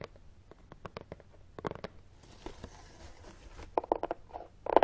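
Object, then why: Closed corrugated cardboard box. Fingernails rapidly tap and scratch on top of a closed, hollow brown corrugated cardboard box resting on carpet, and the box shifts slightly. Quick, dry, hollow taps with a papery knock are broken up by a soft, bright scratching hiss in the middle, and the taps grow louder toward the end.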